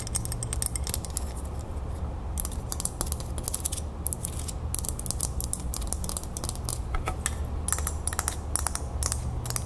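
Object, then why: Small metal crown ornament. Long nails tap and scratch the surface and raised beads of a small, solid, antique-gold, brass-colored metal crown ornament held in the palm. Quick, crisp clicks and bright scratchy ticks come in dense bursts over a steady low hum, and each tap dies away almost at once.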